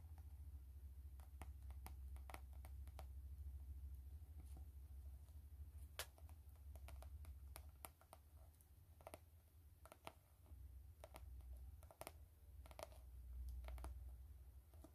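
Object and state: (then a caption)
Faux leather glasses case. Long fingernails tap and scratch the surface of an elongated, hollow, black textured faux-leather glasses case held up close. Quick, bright, dry clicks land at an uneven pace over soft scratching. A steady low hum sits underneath at a quiet overall level.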